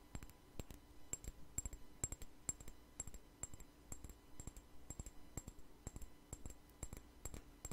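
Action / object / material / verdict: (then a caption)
tap / small glass perfume bottle with plastic flower cap / glass / none. A small glass perfume bottle with a plastic daisy-flower cap is held in the hand and tapped and scratched with fingernails. The result is a steady run of quick, light clicks and taps, each with a short, high, bright glassy ping, over soft scratching.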